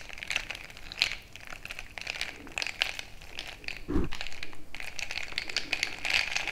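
A bamboo stick is jabbed and stirred into crushed ice filling a frosted glass mason-jar mug. The ice gives off a steady run of sharp, bright crunches and crackles, with one duller, heavier thud partway through. Each crunch dies away almost instantly.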